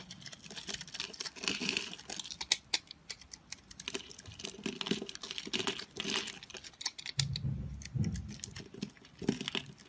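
A solid pastel multicolored soap block, held in the hand and scored into small cubes, is scraped with a utility-knife blade so crumbly chunks break off. Dense, bright crackling and scratchy ticks patter on continuously, with softer, duller low thumps near the end.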